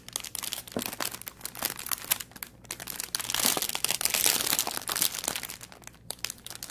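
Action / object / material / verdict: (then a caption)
scrape / thin plastic packaging bag / plastic / none. The loose end of a thin, clear plastic bag holding an artificial aquarium plant is crinkled, twisted and rubbed between the fingertips. The result is dense, irregular, bright crackling with little low end, growing louder and busier in the middle before easing off again.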